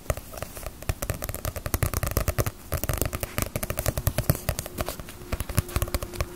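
A small paperback Bleach manga with a glossy paper cover, held in the hands, is tapped on the cover with fingertips and nails. The result is a fast, uneven run of dry, muffled taps with a soft papery crackle, and each tap dies away almost at once.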